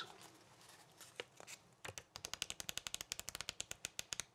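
A small yellow pad of paper sticky notes is held in both hands while the fingertips bend and flip through the stack of sheets. A faint, soft rustle gives way to a quick, even run of about two dozen crisp, bright, dry flicks, like riffling a deck of cards.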